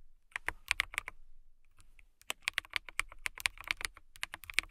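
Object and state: Clear acrylic mechanical keyboard being typed on.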